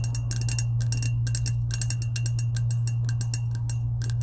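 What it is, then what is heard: Powder-coated stainless steel tumbler. Long acrylic nails tap rapidly on the coated side of a medium lilac, hollow, insulated, powder-coated stainless steel tumbler. The taps come as quick, bright, clicky ticks over a steady low hum near 110 Hz that stays constant throughout.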